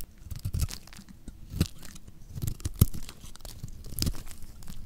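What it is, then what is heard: Dry soap bar being cut. A metal blade scrapes and cuts pieces off a solid orange oval bar of dry lacquered soap. It makes dry, crunchy, tearing strokes at an irregular pace, mostly low in tone with short, sharp crackles that die away at once.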